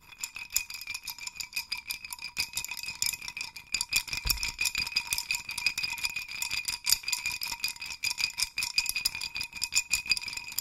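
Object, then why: Hanging cluster of small wooden sticks on a dowel. A wooden hanging chime rattle, a wooden dowel with hanging clusters of small wooden sticks, is held with both hands at the dowel ends and shaken so the sticks rattle against each other. The result is a dense, uneven stream of dry, bright wooden clicks and clatters with almost no low end, swelling and easing in irregular bursts throughout.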